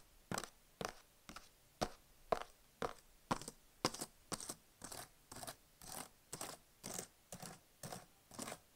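Fingertips type on the plastic keys of a medium-sized, solid blue HP plastic laptop lying on fabric, also rubbing and tapping its touchpad and palm rest, while an earphone mic sits nearby untouched. About 17 short, dry clicky bursts come at a steady pace of roughly two per second, each a quick cluster of clacks and scrapes with bright, hissy upper tones and almost no ring.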